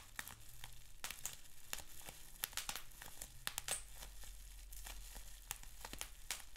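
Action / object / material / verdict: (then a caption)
scrape / plastic bubble wrap sheet / plastic / none. Fingertips and nails pinch and scratch a sheet of clear plastic bubble wrap with small bubbles. Many sharp, bright crinkling snaps and pops ring out over a low steady hum, each dying away almost instantly.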